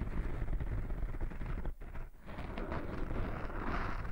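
Fingertips and short nails of one hand scratch and rub the surface of a small, soft, porous black foam windscreen over a microphone. The sound is a continuous, muffled, low-heavy rumbling scratch with no bright edge, briefly dipping quieter around the middle before the rubbing picks back up.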